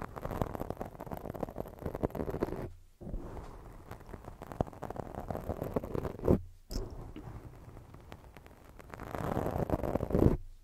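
Long decorated fake nails from both hands scratch and rub a round black foam windscreen, soft and porous, covering a hollow microphone body. The result is a dense, muffled, low-heavy scratching and rustling with almost no brightness, broken by two brief silences and swelling louder toward the end.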